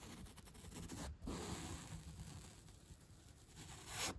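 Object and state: Upholstery foam block brushed.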